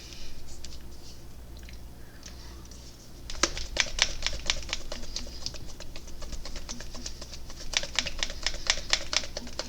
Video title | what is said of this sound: lets paint part 4 | As you can hear, got some agitators in there